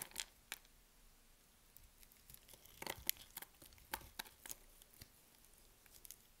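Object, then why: Bar of soap cut with a blade. A box-cutter blade cuts and scrapes slivers off a solid yellow bar of soap with diagonal scoring, held in the hand. Short, crisp, bright crackling cuts come one after another with quiet pauses between them, each stopping instantly with no ring.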